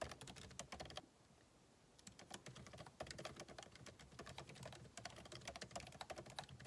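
Fingertips of both hands type continuously on a backlit MacBook Pro keyboard, its plastic keycaps set in an aluminum body resting on a desk. Many fast, bright, clicky key taps run in dense bursts, with a brief quiet pause about a second in before the typing resumes.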